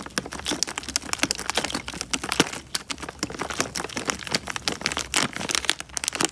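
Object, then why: Thin plastic bag filled with water. A clear, thin plastic bag full of water is squeezed and crumpled with fingers close to the mic. It gives a dense run of bright, crinkling crackles and snaps with short peaks, and a faint low hum underneath.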